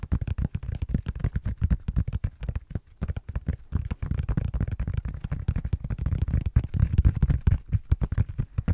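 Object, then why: Tablet in a silicone rubber case. A tablet in a blue silicone rubber case, held flat near the mic with its back side up, is tapped rapidly with the fingertips and short nails of both hands. The result is a dense, continuous patter of soft, low, muffled thuds with very short decay and almost no bright content.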